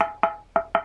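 Four taps on an HDPE speaker panel with a metal plate attached by cyanoacrylate glue, each giving a short, bright, metallic knock centered around 670 Hz with no rattle. The panel sounds solid, showing the metal is well bonded to the plastic.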